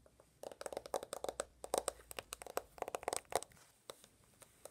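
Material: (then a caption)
Glass, plastic. Fingertips and medium-length nails tap quickly on a handheld iPhone with a glass screen and a gold/rose plastic case, held in one hand. The result is a rapid run of many short, dry clicks centered in the mid-range with bright tops, with brief pauses between bursts.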